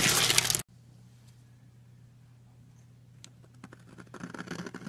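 A metal knife blade scrapes and carves shavings off the top edge of a long, solid blue soap bar lying on a white surface. A loud, bright, crackly scraping burst opens the clip and cuts off abruptly, leaving a quiet low hum with faint scattered ticks. Softer scraping then builds again toward the end.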